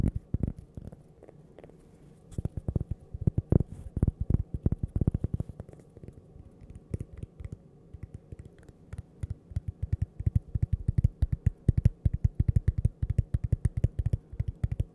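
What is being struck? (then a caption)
Cork coaster. A small, flat, solid cork coaster shaped like a slice of toast is tapped rapidly on its face and edge with long purple-painted fingernails. The result is dense, dull, low thuds with almost no ring, coming in quick irregular bursts with a few quieter stretches between them.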